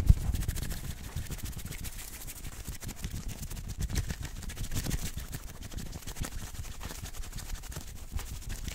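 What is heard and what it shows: A maroon cotton t-shirt with printed lettering, worn on the chest, is scratched quickly with the fingertips and nails of both hands. The result is a dense, steady run of rapid scratching, mostly a low, muffled rumble with faint bright crackle on top and a slightly sharper stroke near the start.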